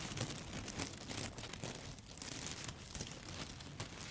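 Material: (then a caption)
Dry pasta. A handful of dry yellow spaghetti sticks held upright is scratched and tapped with long foil-covered nail tips. The result is a quiet, continuous crackling and crinkling texture with brittle clicks, spread across both low and bright ranges.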